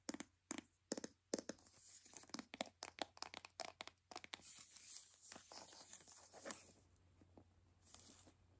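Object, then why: Plastic toy capsule ball. A white hollow plastic toy capsule ball is held in the hands while long nails scratch and pick at its taped seams. Sharp, bright clicks and scratches come in quick bursts, then give way to softer, steadier rustling and peeling of the tape.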